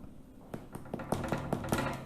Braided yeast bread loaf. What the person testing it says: do you hear the hollow sound now